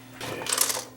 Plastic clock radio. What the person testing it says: sounds like it's got something loose inside